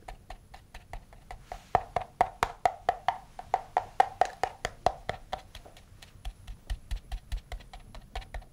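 A small navy box with a textured leatherette cover, likely hollow and rigid, is held in one hand and tapped on its top and sides with the fingernails and fingertips of the other hand. The result is a quick, loosely paced run of short, dry, hollow knocks with a woody tone around 770 Hz, each dying away almost instantly. The taps swell louder in the middle and soften toward the end.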